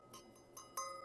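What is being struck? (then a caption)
Bell metal worship item. A bell metal worship item is struck several times, giving bright metallic clinks with a clear ringing tone around 1 kHz that sustains between strikes. It rings clearly, as bell metal should, unlike brass.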